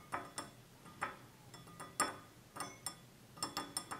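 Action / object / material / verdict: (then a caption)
tap / glass drinking tumbler / glass / none. Fingertips and nails of both hands tap the sides of a small, hollow, empty stemless drinking tumbler of clear glass with a red-tinted base, standing on a table. About twelve light, uneven taps give short glassy clinks with a bright ringing tone near 1.2 kHz that fades quickly between strikes.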